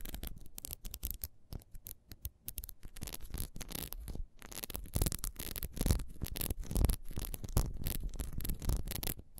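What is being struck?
Ribbed beeswax candle.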